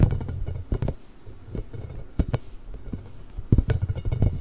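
A large pink hollow inflated rubber ball with nubs is scratched and rubbed with the nails of both hands close to the microphone. Short, dull scratching taps and rubbing sounds come in irregular bursts, mostly low and thumpy with a faint high scrape on the sharper strokes.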